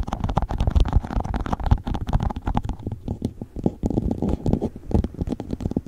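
An empty clear plastic cup rests upside down over a furry microphone cover and is tapped on its sides and bottom with fingertips and nails. The result is a rapid, uneven stream of hollow, low, thumpy taps with brief bright clicks. Each tap dies away almost instantly.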